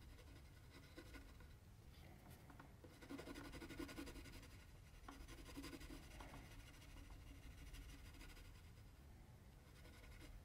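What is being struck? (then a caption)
Paper sheet scraped with pencil. A mechanical pencil held in the right hand scratches and hatches strokes across a flat sheet of white drawing paper lying on a table, while the left hand holds the sheet still. The result is a soft, continuous scratchy rasping at quick, uneven intervals, growing slightly louder and denser in the middle of the clip before settling back to a quiet steady scratching.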